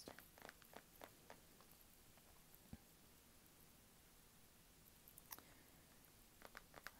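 Long pink nails tap and scratch on the black plastic back of a small, solid Kindle e-reader held close up. Quiet, sharp clicks come in scattered clusters, bunched at the start and again near the end, over a soft, steady hiss. A lone low, resonant knock lands in the middle.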